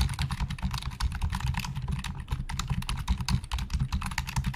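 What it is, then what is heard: Plastic computer keyboard. Fingertips of both hands type fast on the hollow plastic keys of a black plastic Logitech full-size keyboard resting on a desk. The result is a rapid, continuous clatter of short, dry key clicks over a dense low thumping.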